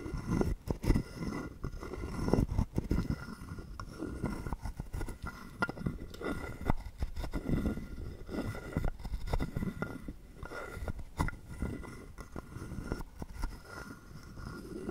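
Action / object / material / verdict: scrape / carved wooden frog guiro / wood / none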